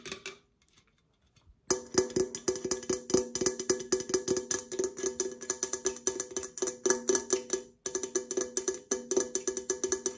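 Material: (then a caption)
Aluminum. An opened, hollow red Coca-Cola aluminum can is held up and tapped on its side and rim with long nails. After a brief tap and a short silence, dozens of rapid, light taps follow with only a brief pause near the end. Each tap gives a short hollow ping centered around 375 Hz with bright, clicky highs and almost no low end.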